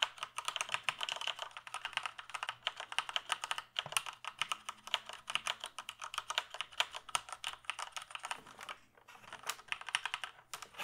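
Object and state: Plastic computer keyboard being typed on.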